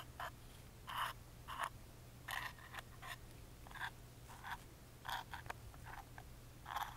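A wooden toothpick scratches along the engraved lines of a small, hollow plywood music box lid held in the hand. It makes a series of short, raspy scraping strokes with a bright, woody, croak-like texture, separated by quiet pauses. A faint, steady low hum runs underneath.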